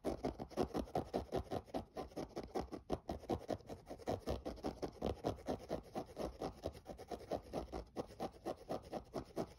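Fingernails scratch the mesh toe area and lace region of a hollow, empty grey synthetic mesh running sneaker. The result is a steady run of quick, dry, rasping strokes, each one short with almost no ring. The tone is soft and centered in the midrange, with little bright content.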